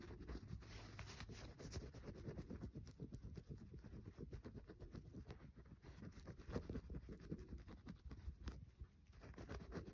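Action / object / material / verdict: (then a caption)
scrape / soap bar / soap / none. Fingernails scratch the surface of a solid green bar of soap held over a paper towel, leaving visible shavings. The sound is a quiet, continuous run of dense, dull scratching and soft tapping, heavy in the low end with very little high-frequency content.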